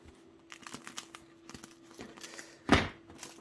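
A freshly baked crusty bread loaf, baked 15 minutes in total because the loaves were large and still too hot to hold, is pressed near the microphone. A series of light, dry crackles and ticks from the crust is followed by one loud, crisp crunch over a faint steady hum. The crust sounds very crispy.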